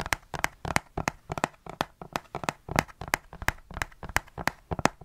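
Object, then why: Plastic spray bottle, partly filled. A large, dark, hollow plastic perfume spray bottle with a trigger pump, partly filled with perfume, is held in the hand beside the microphone and tapped and gripped with the fingertips. About twenty quick, dry, clicky taps and crinkly grip sounds follow one another in an irregular rhythm. Each tap dies away almost instantly with no ring.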